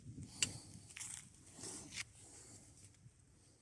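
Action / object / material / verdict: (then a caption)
scrape / spruce log with bark / spruce wood / none. A steel draw knife peels long curling strips of bark and sapwood from an angled, solid spruce softwood log. The result is a quiet, bright tearing and scraping, with a sharp click near the start and swelling rasps as each strip pulls away.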